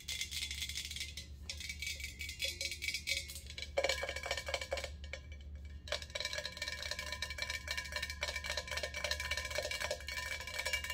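A medium, hollow, empty hammered stainless steel ice bucket, held in both hands, is tapped quickly with long acrylic nails. The result is a dense run of bright, clicky metallic taps with a short ring near 550 Hz, over a steady low hum.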